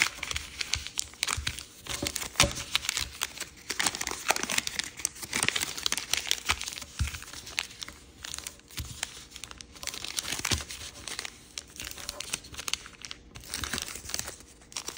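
A thin sheet of dark-red floral chiyogami origami paper, folded flat, is pressed and rubbed along its creases with fingertips. The result is a continuous, bright crinkling and rustling, with dense, crisp paper scratches that swell and fade throughout.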